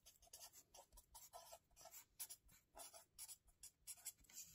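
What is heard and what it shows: A felt-tip marker held in the fingers scratches across the lined paper pages of a small spiral-bound notebook lying flat on a table. Quiet, bright, dry scratching comes in short, rapid bursts of writing strokes with brief pauses between them.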